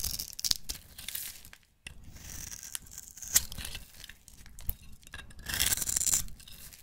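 A metal utility-knife blade scrapes the surface of a solid, rectangular, pink striped bar of soap held in the hand, shaving it into fine crumbs. The sound is a bright, crackly scraping in uneven bursts with sharp little ticks, broken by a brief pause near the two-second mark.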